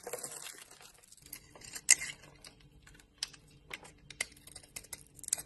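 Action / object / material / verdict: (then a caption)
scrape / bar of soap cut with a blade / soap / none. A hand with long nails holds a solid yellow-coated bar of soap with a white core while a utility knife blade scrapes and cuts it into brittle chips. Quiet, bright scraping runs throughout, broken by several sharp, crisp snaps as chips break away.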